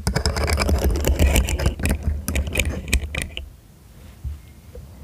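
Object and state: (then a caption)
Plastic segmented fidget toy. A hollow, segmented rainbow plastic fidget slug toy is arched over the mic while fingertips and nails click and flex its segments. Rapid, irregular clicking and scraping with a deep close-mic rumble fills the first three seconds or so. It then fades to near quiet with a few soft taps and a final sharp click.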